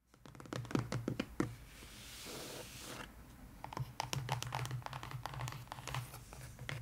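Long pointed nails tap and scratch the lid of a long, closed, brown corrugated cardboard mailer box lying flat and hollow on a table, with both hands resting on top. Sharp, dry clicks ring out over a low hollow thump, then a steady, bright scratching drag takes over in the middle before the quick tapping returns.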